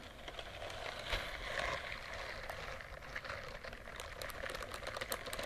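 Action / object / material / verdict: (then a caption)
scrape / silicone bristled scrubbing glove / silicone / none. Fingertips and long nails scratch and rub the soft bristles of a white silicone bristled dish glove held up close to the mic. The result is a steady, dense rustling scratch with a bright, crackly texture and a mid-range tone around 500 Hz, with quick ticking accents scattered throughout.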